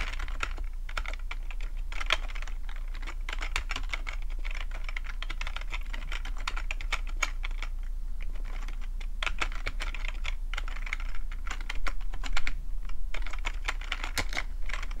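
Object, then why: Plastic computer keyboard. Fingertips of both hands tap rapidly across the keys of a black plastic full-size computer keyboard with a hollow housing, resting on a fluffy rug. The result is a dense, irregular stream of short, bright plastic key clicks over a steady low hum.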